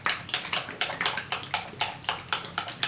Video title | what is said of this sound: ✅Sunscreens I Swear By ✔ Questions✔Sun Hats✔ Touchup ✔Over 40✔Matte✔Tinted✔ Melasma & Sun aging✔ | you can hear that it's just super fluid it is light